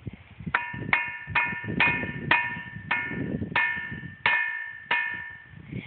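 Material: Rock.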